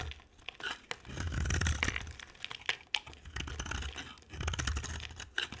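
A box cutter blade scrapes and carves flakes off a solid, dry, white rectangular soap bar with an orange rim, held in the hand. Irregular, crisp, crunchy scraping strokes swell and fade with a bright rasp over a soft low rumble.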